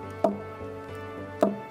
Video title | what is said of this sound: Jamaica Magazine - 22.04.2024 | When you knock it like this with a stone, it gives you sound. Why it gave you that sound? Because it's hollow inside.